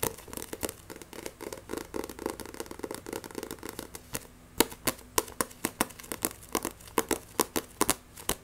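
Fingernails tap and scratch rapidly on the spine and glossy cover of a paperback Akame ga Kill vol. 1 manga. The first half is a dense, dry rush of scratching and clicking; it then thins into sharp, separate bright taps with very little ring.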